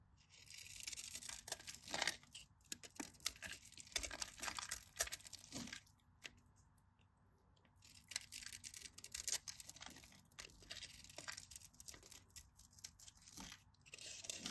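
A knife blade cuts into the scored grid of a solid, cream-colored bar of dry soap held in the hand, crumbling small cubes off. The result is a run of dry, bright, crisp crunching and crackling scrapes with almost no low end, in two busy stretches separated by a short quiet pause in the middle.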